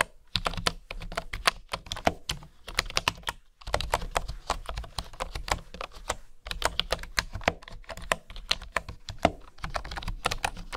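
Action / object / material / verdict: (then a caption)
tap / bamboo wooden keyboard / bamboo / none. Fingertips and nails tap rapidly on the keys of a bamboo wooden keyboard, seen up close and typed on with both hands. The result is a dense run of short, dry clicks and light wooden taps with a bright, crisp edge, broken by brief pauses.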